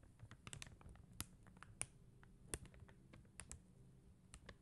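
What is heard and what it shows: Long teal acrylic nails tap and click on an acrylic rhinestone sticker sheet: a flat sheet of clear and blue faceted plastic gem stickers on white paper backing. The result is a quiet, irregular run of short, dry, bright clicks that die away almost instantly, over a soft low rumble.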